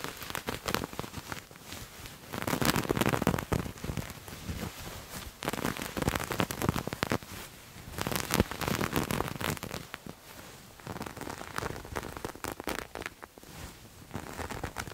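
Grey textured knit fabric is bunched, scrunched and scratched with nails, giving a dense, crackly rustle across the whole range. Louder stretches of scratching swell around 2 to 4 seconds, 5.5 to 7 seconds and 8 to 10 seconds, with quieter, sparser scraping in between.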